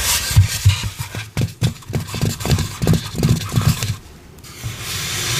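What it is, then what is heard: Polystyrene foam head scratched with long nails. Long pink acrylic nails rub and scratch the back of a white polystyrene foam mannequin head. A quick, uneven series of dull, low scraping strokes rides over a bright hiss of friction, then fades into a quieter, steady airy rustle.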